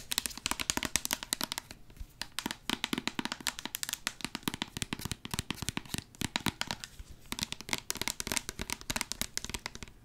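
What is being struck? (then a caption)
Plastic squeeze bottle. A hollow, medium orange plastic hair product squeeze bottle with a white cap, held upright near the mic, is tapped and scratched with long acrylic nails. The result is a steady stream of rapid, dry, bright clicks and scratchy rustles with no ring after each tap.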